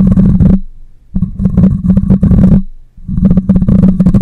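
Fingernails scratch and fingers rub across the metal mesh grille of a black microphone, producing dense, rumbling, scratchy bursts with a steady low hum underneath. The sound comes in three stretches separated by short pauses.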